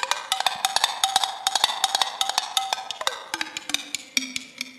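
Long acrylic nails rapidly tap and scratch a small clear glass mason jar with a screw-on metal lid, held in both hands with some loose shiny contents inside. About 28 quick, bright clicks ring with a glassy tone near 780 Hz that drops to lower tones around 300 and 250 Hz in the second half.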